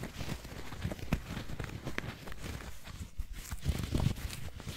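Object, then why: Foam squishy toy donut. Long nails tap and scratch the blue icing and edge of a palm-sized squishy foam donut. Soft, muffled scratching runs throughout, mostly low and dull, with a few sharper taps standing out that die away almost instantly.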